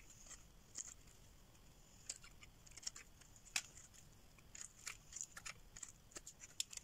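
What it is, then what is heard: Dry soap bar. A solid green rectangular dry soap bar, held in the hand, is carved and scraped with a metal blade, peeling off long shavings. Quiet, bright, crisp scrapes and dry clicks come in irregular bursts, each dying away almost instantly, over a faint steady hiss.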